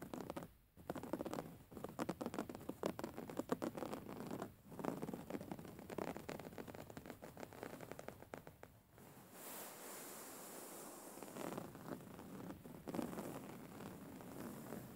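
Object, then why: Soft filled pillow with woven fabric cover. Fingernails and fingertips scratch the textured weave of a soft, filled grey woven-fabric pillow, making dense, rapid, dry scratching bursts with brief pauses. Partway through, the sound shifts to a softer, steadier rubbing with a brighter hiss, then scratching strokes return.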